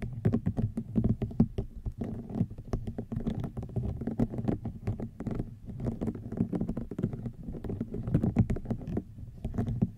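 A woven rattan wicker basket is scratched and tapped with long nails, giving a dense run of quick, soft, dry taps and scratchy patter. The sound is mostly low and muffled, and each tap dies away almost at once.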